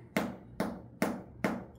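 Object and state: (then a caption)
Ripe jackfruit. A ripe jackfruit is tapped four times, each tap giving a short, dull thud with a low body around 190 Hz that dies away quickly. The hollow-sounding taps indicate the fruit is ripe, its skin soft enough to give under a finger press.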